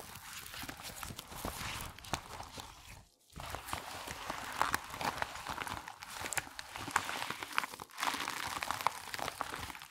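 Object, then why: Latex rubber band sheet rubbed by gloved hands. Hands in black nitrile gloves rub, squeeze and crumple a thin, flat, wide purple latex resistance band lying loosely folded on a white table, lifting and pressing its folds. The glove-on-rubber contact gives a steady stream of bright crinkling, squeaky rubbing and soft crunches, with a brief near-silent gap around three seconds and a short dip near eight seconds.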